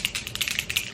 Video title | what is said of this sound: BEST GLUELESS INSTALL- EBIN WONDER LACE BOND, EBIN LACE TINT, EBIN EDGE CONTROL | i like to shake it up as you can hear